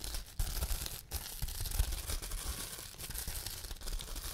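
Fingertips press and pinch bubbles on a large clear plastic bubble wrap sheet to pop them. A continuous crinkling, crackling texture with bright hiss runs throughout, and low thumps and small sharp pops rise out of it here and there.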